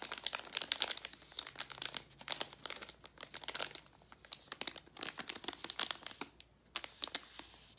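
A gold Werther's metallized foil-plastic candy bag is squeezed and crinkled with fingertips. It makes dense, irregular bursts of bright, crackly crinkling with sharp, quick snaps and almost no low end, pausing briefly between flurries.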